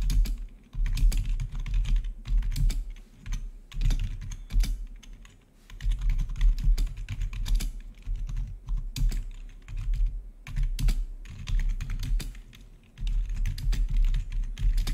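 Fingertips of both hands type rapidly on the keycaps of a full-size black plastic membrane-style gaming keyboard with blue-to-red backlit keys. The result is a dense stream of short, dry key taps over a steady low hum, with brief lulls in the typing.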